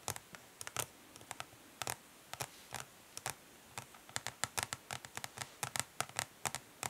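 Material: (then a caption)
Plastic. Long fingernails from both hands tap quickly on the underside of a flat plastic eyeshadow palette, its dark translucent ridged plastic facing up over the hollow case. Some thirty short, dry, bright clicks come in uneven bursts and clusters, each dying away almost at once against a quiet background.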